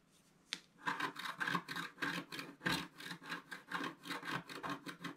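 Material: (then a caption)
Coated paper. A wooden stylus scratches across a thin coated scratch-art paper sheet in repeated strokes. After a short quiet start and a sharp tick, about 18 dry, rasping scrapes follow in a steady rhythm, each a brief bright burst. The overall level is soft and close.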